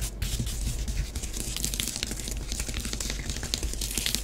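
Long nails on both hands scratch and rake quickly through orange bath bomb powder on a flat grey tray in many short strokes. The result is a steady, dry, gritty scratching with bright crackly grains over a soft low rumble.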